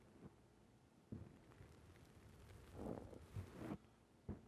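A fingertip presses and squishes the black rounded foam windscreen on a microphone. It makes muffled, low rumbling thumps and soft crackly rustles, with dull bumps that swell and fade over a quiet, steady hiss.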